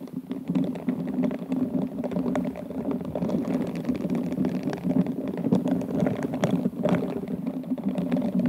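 Bristled pink silicone glove fingers rub and scratch the gem-covered bowl of an upside-down, hollow, empty glass wine glass covered in rhinestones and beads. The result is a steady, dense scratching with a low, muffled body and fast, crackly clicks throughout.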